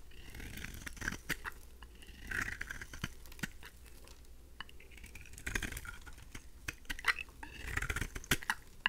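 A pink oval bar of solid dry soap is held in the hand and scraped with a craft knife blade, shaving off fine curls. The scraping comes in quiet, dry, scratchy strokes with crisp crackling ticks and a bright rasp, separated by short pauses.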